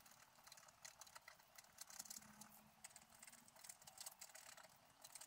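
A pointed wooden stylus scratches away the black coating of a flat, book-sized sheet of scratch art paper with a colored layer beneath. The sheet lies on a table while the other hand holds it steady. The result is a quick, continuous series of dry, bright scratching strokes, mostly high in pitch with almost no low end.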